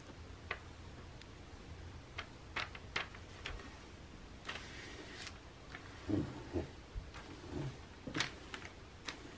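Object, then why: Glossy paper magazine pages. Fingernails rapidly tap and scratch the thin paper pages of an open glossy makeup catalog lying on a table, staying on the same spread throughout. About a dozen quiet, sharp ticks stand out over a low, steady hum, along with a longer bright papery scratch and a few duller, fuller taps. Each sound dies away almost at once.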